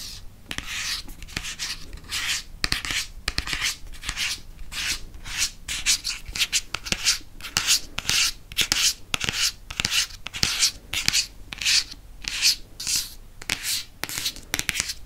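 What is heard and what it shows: Fingernails rub and scratch the maroon cardboard spine of a hardcover paper book, then move to its front cover. The result is a run of dry, bright scratching strokes in uneven bursts, with short quiet gaps between them and little low-end body.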